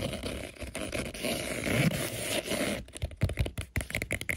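Fingertips and nails scratch and rub across colorful interlocking EVA foam puzzle floor mat tiles, which are thin, flat and solid with a textured surface. A dense, continuous rough scraping with a low rumble fills the first few seconds, then breaks into quicker, choppy bursts of brighter scratching.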